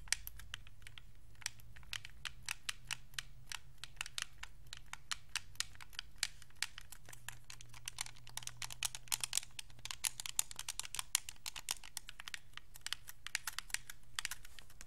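Thumbs press the d-pad and sticks of a white Xbox 360 controller made of hollow hard plastic. Rapid, irregular streams of sharp, bright clicks and clacks die away almost instantly and grow denser toward the middle. A steady low hum runs underneath.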